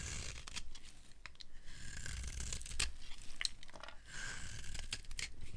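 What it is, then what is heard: Dry soap bar scraped into shavings. A metal knife scrapes a dry, silver-painted Ivory soap bar, solid white inside, peeling it into curled shavings. Repeated crisp, crunchy scrapes with a bright, papery tearing texture sit over a steady low rumble.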